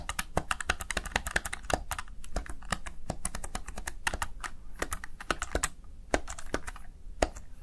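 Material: Plastic.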